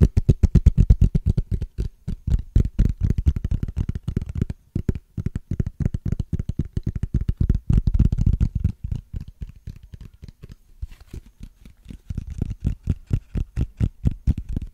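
Fingernails scratch and tap along the ridges of a small, clear, hollow plastic case with a ridged texture. The result is a rapid, irregular stream of short, dry clicks and scrapes with a dull, low body. There is a brief pause near the middle, and the tapping grows softer toward the end.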